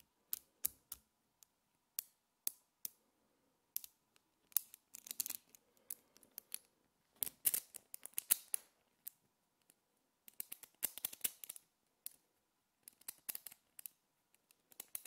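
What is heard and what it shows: Small multicolored solid metal magnetic spheres are handled with fingertips and long nails, a chain pulled out and pressed back into a ring or clump. The result is quiet, sharp, bright clicks and snaps that die away instantly, some spaced apart and others in quick rattling clusters.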